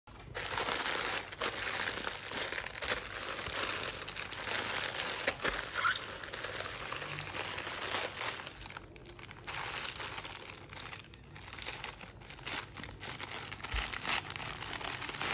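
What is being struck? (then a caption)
Polyethylene shipping mailer. A medium teal polyethylene shipping mailer with a paper label, hollow and holding a soft item, is crumpled and crinkled by bare fingertips while being opened on a white table. Dense, bright plastic crackling runs throughout in irregular bursts, dipping briefly around the middle before continuing.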